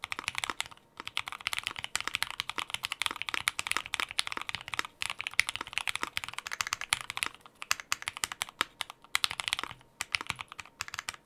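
A compact 60% mechanical keyboard with a white case, white and dark GMK plastic keycaps, a polypropylene plate and Gateron Ink Black switches rests on a dark desk mat. Both hands type continuously with their fingertips in rapid succession. The result is a steady stream of short, bright clicky-clacky keystrokes with brief pauses and almost no low end.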